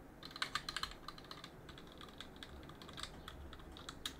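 A gloved hand scrapes and rubs a cotton swab between the plastic keycaps of a backlit plastic and aluminum mechanical keyboard. It makes a quiet run of quick, bright clicks and scratchy ticks over a soft hiss, with the sharpest taps near the start. Each tick dies away almost at once.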